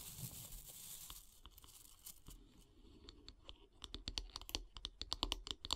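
Long grey nails tap and scratch along a solid light-wood bath brush handle. The first couple of seconds bring a soft, hissing scratch, then short, bright, clicky taps follow, coming faster and louder toward the end.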